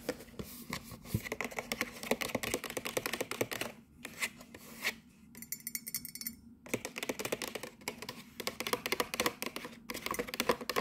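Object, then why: Cardboard box. Long nails tap and scratch the sides and front of a printed cardboard gift box with a window that holds a mug. The result is a fast run of short, dry, crisp clicks with a bright edge, broken by a couple of brief lulls where a softer, high scratching texture comes through.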